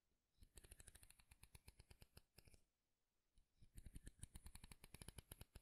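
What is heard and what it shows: Fingernails pluck and scratch the teeth of a light wooden wide-tooth comb held close to the mic. Quick, dry clicks with a low thump and a bright edge come in rapid runs, pause briefly, then resume louder.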